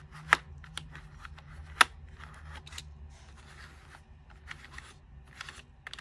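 Fingertips and long nails press and tap the keys of a white, unlit, full-size plastic computer keyboard. Sharp, bright clicks come in an uneven rhythm, with two standing out louder than the rest. Softer taps and brief rubbing sounds fill the gaps over a faint low hum.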